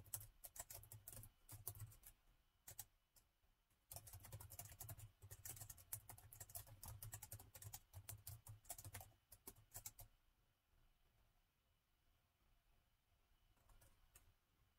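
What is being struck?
Plastic laptop keyboard.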